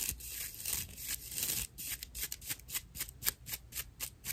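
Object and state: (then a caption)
Natural loofah sponge. A porous, dry natural loofah pad, gripped in both hands, is scratched with long nails, giving a rough, bright, hissy scraping. It begins as a steady rasp for about a second and a half, then breaks into a quick, uneven series of short, dry scratches.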